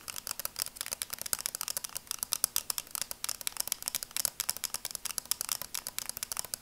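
Long acrylic nails rapidly tap and scratch on a pair of red and black plastic sunglasses. The result is a quick, steady stream of sharp, dry clicks and scrapes that are bright and high, with almost no low end and no ring after each tap.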